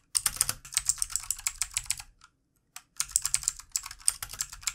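Fast fingertip typing with both hands on a full-size backlit plastic mechanical computer keyboard with plastic keycaps. The result is a quick run of bright, sharp clicks with a soft low thump under each, a brief pause, and then another burst of rapid keystrokes.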